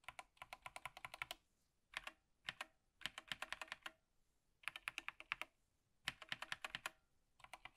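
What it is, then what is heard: Plastic mechanical keyboard typing. One gloved hand types with its fingertips on an Apex Pro TKL (2023) wired gaming keyboard, a full-size TKL board with plastic keycaps, a black frame and hollow switch housings, lying flat on a table with a wrist rest. Quick runs of crisp, hollow plastic clacks come in short bursts separated by brief pauses. Each keystroke is bright and dies out almost instantly, with almost no low end.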